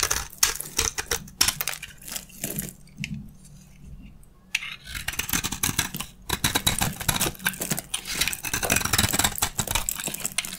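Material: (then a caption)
Soap. A metal utility blade shaves crunchy curls off a solid, dry beige soap bar held in the hand. Dense, bright, crackly scraping bursts come in quick succession, with a quieter pause partway through. Then the crunching resumes and continues steadily to the end.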